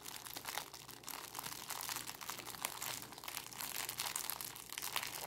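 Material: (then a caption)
Plastic film. A small bunched-up clear plastic cellophane bag is squeezed and crinkled between fingers with long nails. It makes a steady, dense crackling of bright, crisp crinkles with little low end, rising and falling slightly in loudness throughout.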